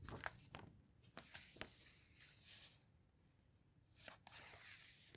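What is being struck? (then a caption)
Hardcover book with glossy paper pages. A hand with long red nails presses, rubs and squeezes the glossy pages of an open hardcover guitar book flat with the fingertips, then turns a page. Soft, bright papery rubbing and crinkling fills the quiet, broken by several short, crisp ticks and snaps.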